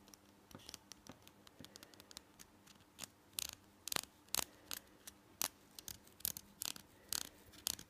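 A small, solid green and white plastic toothbrush is held in both hands while fingernails scratch and tap its handle. The result is a quiet, rapid series of sharp, bright clicks and scratchy bursts, mostly high-pitched, with no ring after each tap.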